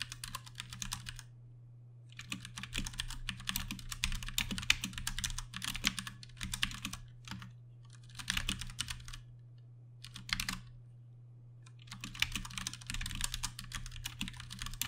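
A compact 60% Ducky One 2 Mini mechanical keyboard, with plastic keycaps, Cherry MX Brown switches and RGB backlighting, is typed on fast with the fingertips of both hands. Bursts of bright, sharp, clicky key presses come in runs separated by short pauses, over a steady low hum.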